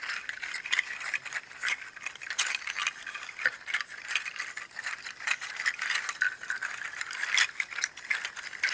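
Fingers squeeze and shake a strung bundle of hollow, dry, textured pangi seed shells, making the shells knock together. The result is a steady, dense clatter of short, dry clicks with no low end, concentrated around 2 kHz with bright high edges, swelling and fading as the bundle is worked.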